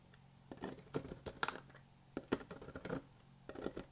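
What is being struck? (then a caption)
Soap shavings. A bare hand presses and crushes a loose pile of dry, brittle green and white soap shavings with its fingertips on a white table surface. It makes a series of short, dry crunching and crumbling crackles with quick bright clicks, separated by brief quiet gaps.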